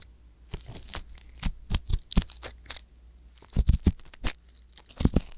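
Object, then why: Silicone ear of a binaural microphone scraped with a metal-tipped pick. A wooden ear pick with a metal tip, held with long nails, scrapes inside the canal of a soft silicone ear on a white box binaural microphone. Close, dry scratching and crackling come in uneven bursts over a low, steady rumble, with no talking.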